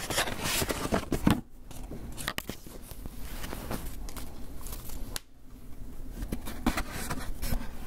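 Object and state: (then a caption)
Styrofoam takeout box. Fingernails scratch and scrape across the lid of a closed, hollow, white polystyrene foam clamshell takeout box, making dense, squeaky, crunchy rasps. The first second and a half is loudest, then it settles into a softer, steady scrape and briefly drops near the five-second mark. Sharper, louder scratches return toward the end, with a low, hollow body under bright streaks.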